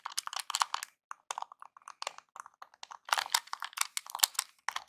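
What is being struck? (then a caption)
Plastic game controller. Fingertips and nails press and tap the buttons of a small, hollow NES-style plastic game controller. Rapid, dry plastic clicks and taps come in uneven bursts, bright and thin with no low end, each one dying away almost instantly.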